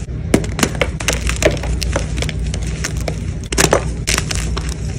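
Pieces of a white gym chalk block are squeezed and crumbled by fingers with blue nails among chalk chunks and powder. A fast run of dry, crisp crunches and snaps with bright crackling edges is heard over a steady low background hum, each crunch dying away almost instantly.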